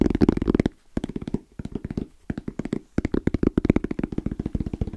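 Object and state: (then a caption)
EVA hard-shell zipper case, hollow. Fingertips from both hands tap fast and rhythmically on a small, closed, hollow black zippered hard case with orange trim and a fabric-covered EVA shell. About 25 short, dull, hollow taps land in quick bursts with brief pauses between them. Each tap has a soft low-mid thump and almost no ring.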